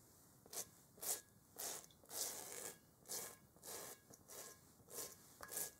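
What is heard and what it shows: A large, hollow, textured rubber kickball, held in a gloved hand, is scrubbed with a stiff-bristled brush. About eleven quiet, bright, hissing scrub strokes come at an uneven, unhurried pace, each a short rasp that fades quickly.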